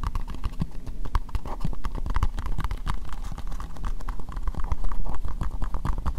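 Long nails tap rapidly on an empty, hollow, translucent pink plastic bowl. The taps come in a dense, steady patter of short, dry clicks over a low, hollow thump, and each tap dies away almost at once.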